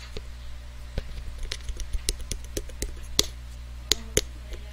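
A hand-sized blue metallic aluminium aerosol-style spray can, hollow and of unknown fill, is held close to the microphone and tapped and scratched with fingertips and nails. About ten short, dry taps and clicks with bright, high edges and almost no ring stand out over light scratching. A steady low hum runs underneath throughout.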